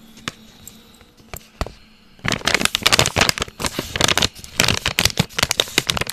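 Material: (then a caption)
Plastic. A filled pink plastic stand-up snack pouch of Veggie Minis is held and squeezed in the hands. A few faint crackles come first, then a steady run of bright, dense crackling and crinkling from about two seconds on.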